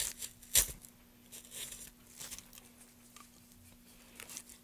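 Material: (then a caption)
Softwood. Gloved hands carve the top face of a solid pale softwood board, about 30 cm long, resting on a dark surface scattered with shavings, using a small gouge to scrape and cut long shavings. Bright, hissy scraping strokes come in short bursts, the sharpest one early on, with quieter cuts following over a faint steady low hum.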